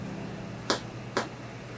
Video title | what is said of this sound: kids learning to make bread | you can check to see if your bread is done by flicking it and if it sounds Hollow it's done